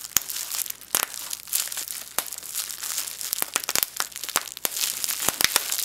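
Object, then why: Plastic bubble wrap sheet. A small clear sheet of plastic bubble wrap with air-filled bubbles is held in both hands, its bubbles squeezed and popped between fingertips and thumbs. Sharp, bright pops burst out irregularly over a steady, high crinkling as the sheet is handled.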